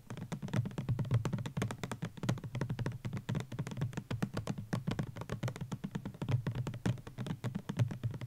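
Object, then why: Plastic sunscreen bottle. Fingertips and nails tap quickly on a white plastic Garnier Ambre Solaire 200 ml sunscreen bottle with an orange cap, standing on a blanket. The result is a steady stream of rapid, dull, hollow taps with a low, muffled body and very short decay, possibly with faint music in the background.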